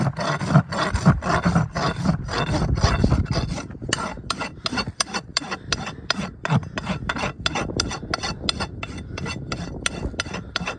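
A farrier rubs a steel rasp up and down the solid keratin wall of a shod horse hoof resting on a metal stand, filing in repeated strokes. Each stroke gives a coarse, scraping rasp with a heavy low body and bright gritty edges, at roughly two strokes per second. The strokes blur together at first, then separate into sharper, distinct scrapes.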